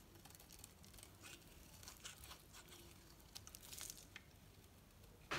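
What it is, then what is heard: Bar soap being carved. A metal knife carves shavings from a solid green bar of painted soap with a pink edge, held in the hand. Soft, crisp scraping and crinkly tearing sounds with bright, high edges repeat throughout. A louder, sharper scrape comes at the very end.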